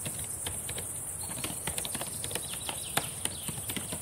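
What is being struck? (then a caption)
Plastic laptop keyboard. Long painted nails and fingertips type and tap on the plastic keys of a black laptop keyboard. The result is a quiet, irregular stream of sharp, bright clicks and soft thuds, with a few louder taps standing out, over a steady high hiss.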